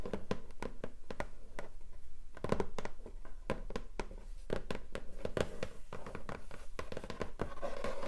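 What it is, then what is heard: Cardboard box. Long acrylic nails scratch and drag across the lid of a long, flat, hollow pink cardboard keyboard box lying on a table. The result is a quick run of dry, sharp taps and scratchy rasps with a hollow midrange tone and no lingering ring.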